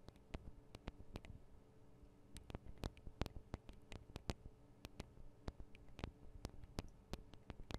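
Long acrylic nail tips tap rapidly on the two small hollow metal and plastic microphone capsules of a Tascam DR-40 recorder. The result is a quick, irregular series of sharp, dry clicks with bright edges and almost no ring, over a quiet, steady low hum.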